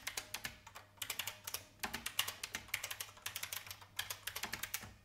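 An old, full-size beige IBM plastic mechanical keyboard with a hollow case is typed on by fingertips with long painted nails. Quick bursts of bright, sharp clacking taps are separated by brief pauses, with each keystroke dying away almost instantly.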